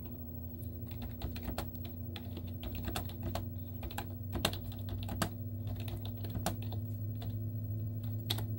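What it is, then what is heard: Plastic laptop keyboard. Long teal-painted nails and fingertips type rapidly on a white plastic laptop keyboard with cartoon stickers on its hollow keys. The result is a quick, uneven stream of light, clicky taps that die away almost instantly, over a steady low hum.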